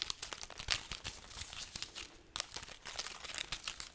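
A dried red chili pepper garland held overhead has its pods rubbed and scratched with long nails. This gives dense, bright, crinkling crackles and papery scratches, with a brief quiet gap midway.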